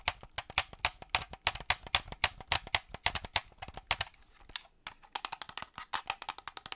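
A hollow black plastic Xbox-style gamepad is turned in the hand while fingernails tap its plastic shell and grips. Around 38 dry, bright clicks ring only briefly, coming in a steady run, thinning briefly around the four-second mark, then resuming in a quicker burst.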